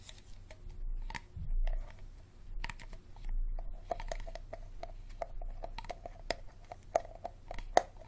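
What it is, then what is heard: Empty plastic water bottle. An empty, hollow, clear Dasani plastic water bottle with a green cap is held over a table and tapped with fingertips and nails on its label and shoulder. Quick, light tapping clicks with a hollow, mid-pitched plastic ring mix with soft crinkly rustles and a low background rumble, the taps growing denser toward the end.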